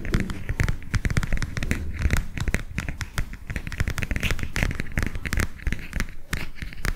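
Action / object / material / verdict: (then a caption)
tap / cardboard picture book / cardboard / none. A flat, illustrated cardboard picture book held in both hands is tapped and scratched with the fingers. The result is a rapid, continuous run of soft, dull taps with a heavy low thump, mixed with bright, dry scratching and crinkly rustle.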